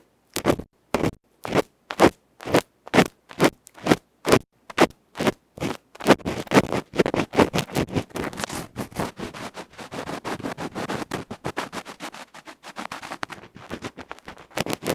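A bamboo ear pick scrapes and scratches a small hollow aluminium electret microphone capsule with a black felt face, held in the fingertips. It starts with evenly spaced, separate rasping strokes. After about six seconds these turn into fast, continuous, crackly scratching with a bright, gritty edge, and distinct strokes return near the end.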